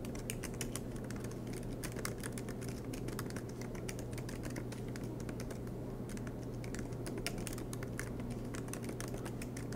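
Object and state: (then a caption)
Laptop keyboard typing. Fingertips of both hands type rapidly on the black plastic keycaps of an aluminium MacBook Pro laptop resting on a desk mat. A steady stream of quick, light, bright clicks runs throughout at an even level over a constant low hum.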